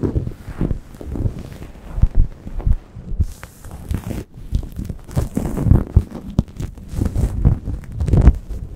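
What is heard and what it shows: Long painted acrylic nails scratch and rub a soft grey microfiber towel draped over a Blue Yeti microphone, at fast and slow paces. The result is a dense, muffled run of low, thumpy scraping and rustling, with almost no bright content and no speech.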